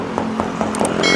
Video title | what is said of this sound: Suzuki Futura Realvan Type DRV Tahun 2003 | kita ketok dengerin suaranya ini masih ngaleng bodynya masih tipis